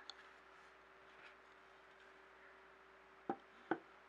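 A clear glass jar filled with paper scraps, lying on its side and then turned upside down, is tapped with fingertips and nails. Three short, dry taps are heard: a faint one at the start, then two sharper taps close together near the end, over a quiet steady hum. Each tap dies away almost at once.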